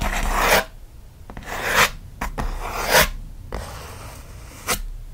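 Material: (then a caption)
Cardboard. Fingernails scratch fast across the lid and front edge of a closed, hollow kraft corrugated cardboard mailer box. Six loud bursts of dry, bright rasping rise and fade over quiet gaps, with irregular timing. Some strokes are long and swelling, others short and sharp.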